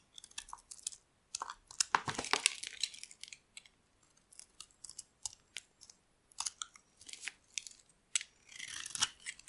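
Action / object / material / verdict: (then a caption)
scrape / bar of soap scraped by a metal blade / soap / none. A metal blade scrapes and carves flakes off a solid rectangular bar of dry white soap held in the hand. The result is a series of quiet, irregular, crisp scraping and crunching strokes with a bright, papery texture and almost no low end, separated by short pauses.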